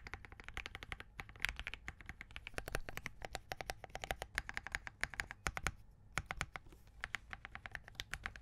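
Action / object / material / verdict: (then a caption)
tap / mechanical keyboard with plastic case and plastic keycaps / plastic / none. Both hands type continuously with their fingertips on a compact Spark67 mechanical keyboard with Crane switches, a POM case and plastic keycaps. The result is a rapid stream of crisp, short clacks, each bright and dry with a faint low thump beneath, dying away almost instantly with no ring.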